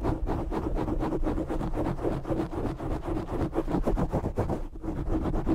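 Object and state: Foam microphone windscreen being scratched.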